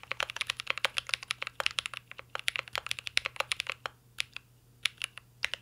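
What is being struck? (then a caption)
Mechanical keyboard with metal case and plastic keycaps. A mint green Cyberboard R3 mechanical keyboard with a metal case and plastic keycaps is typed on continuously with the fingertips of both hands. Rapid, bright, crisp clicks come in quick bursts, each stopping almost instantly, with a brief gap of only a few scattered keystrokes near the end.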